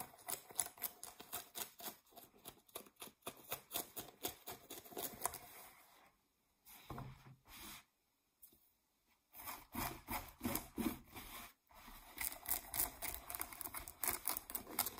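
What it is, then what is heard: Denim jeans scratched with nails. Long nails scratch quick, dry, bright strokes across distressed blue denim jeans and their waistband, with the jeans first held up and then laid flat. The irregular scratching breaks off into brief pauses about midway with a few soft shuffles, then resumes just as busily.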